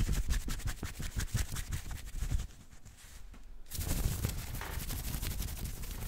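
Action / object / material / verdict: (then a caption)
scrape / cotton t-shirt fabric / cotton / none. Fingertips and nails scratch fast over a maroon cotton t-shirt with a printed logo, worn on the chest. The result is a dense, rapid run of rough, bright scraping strokes over a heavy low rumble. The scratching drops to a near-silent lull partway through, then resumes just as fast and steady.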